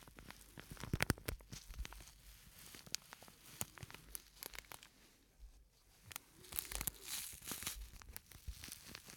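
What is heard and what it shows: A small, flat, purple-and-white printed plastic scent sachet with a granular filling is held in one hand and squeezed and crinkled with the fingertips. This gives dense, bright crinkling and crackling with sharp, quick clicks and a soft low rustle underneath. The loudest bursts come near the start and again in a busy stretch after a brief quiet lull.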